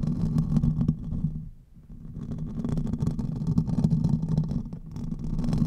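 Fingertips and nails of both hands scratch the hollow domed metal mesh grille of a silver USB condenser microphone held upright. The result is a dense, muffled, low rumbling scrape centered around 160 Hz with little high content. It briefly fades to near silence around the middle before the scratching resumes.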